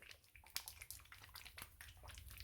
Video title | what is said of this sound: Dior Backstage Face & Body Foundation Review- Shade 5N- GirlBossBeauty | let me shake it you can hear that if it's not thick I don't want you to think it's thick at all